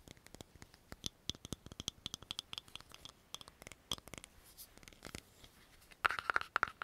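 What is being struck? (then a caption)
Small plastic cream jar. A small, round, hollow green plastic cream jar with a patterned lid is held in both hands and tapped and scratched quickly with long fingernails on the lid and sides. Dense, rapid, dry clicks and scrapes with a bright edge come through, closing in a louder burst of sharper taps with a ringing tone near 1.4 kHz.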